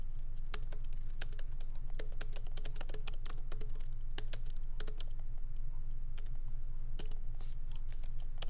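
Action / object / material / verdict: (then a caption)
tap / laptop keyboard, plastic keys in metal body / plastic / none. Both hands type rapidly with their fingertips on a MacBook Pro keyboard, whose low-profile plastic keys sit in a solid aluminum body. Quick, sharp key clicks come in an uneven stream over a steady low hum.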